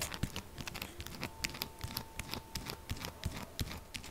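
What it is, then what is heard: Soap bar. Long acrylic nails tap fast on the top of a solid, textured pink soap bar lying flat. The result is a quick, uneven run of short, dry clicks with bright edges and dull low thumps, over a faint steady tone.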